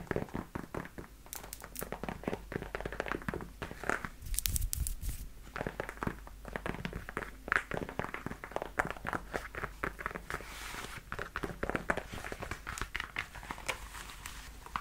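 Long nails tap and scratch the leather upper and toe of a worn black leather high-heel platform boot with a side zipper. The result is a steady run of quick, dull taps mixed with soft scratchy rubbing and brief brighter crackles. The taps come too close together to count.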